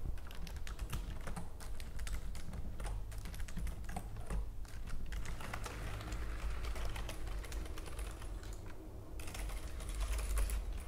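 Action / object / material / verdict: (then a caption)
tap / plastic computer keyboard / plastic / none. Fingernails tap quickly on a white plastic computer keyboard while spread fingers type across the keys, making a dense run of light, bright clicks. A steady low rumble sits under the clicking throughout.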